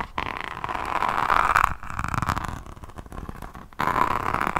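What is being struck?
Resin rhinestone notebook cover.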